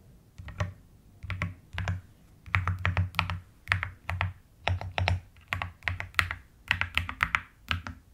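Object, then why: Plastic mechanical keyboard. Long-nailed fingers type and tap on a white plastic mechanical keyboard with pastel keycaps, with the hands moving to the right side at times. The keystrokes come in quick bursts separated by short pauses. Each press has a deep, rounded thock under a bright clack that dies away almost at once.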